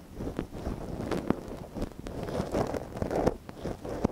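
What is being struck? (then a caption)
Silicone ear of a binaural microphone, scraped with a wooden ear pick. A thin wooden ear pick, held in a gloved hand, scratches inside the canal of a small, hollow white silicone dummy ear on a binaural microphone. Close, rustling scrapes and soft taps come in quick, dry bursts that are mostly low and muffled, with a few sharper clicks standing out.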